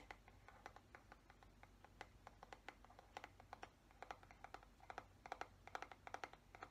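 Fingernails tap and scratch the smooth plastic back of the head of a black plastic paddle hairbrush. Dozens of quick, dry clicks in irregular bursts ring around 760 Hz with a bright edge and die away almost instantly, over a quiet, low steady hum.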